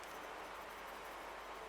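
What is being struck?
Nothing is struck.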